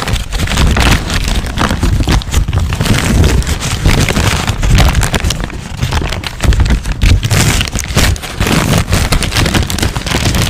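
A thin, crumpled white paper sheet is held close to the microphone and crinkled, scrunched and rubbed between the fingertips of both hands, then unfolded and shaken. The result is a dense, continuous crackle of fast crinkles, with heavy low rumbling from handling near the mic beneath brighter rustling.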